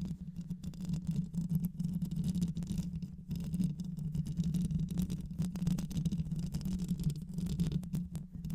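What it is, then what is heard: Microphone mesh grille being scratched. Long nails on both hands scratch the mesh grille, likely metal, of a black hollow microphone throughout. The result is a continuous, dense, low rumbling scrape with a steady hum-like tone near 150 Hz and a fast, pattering texture. It holds at a fairly even level, with a brief dip just past the three-second mark.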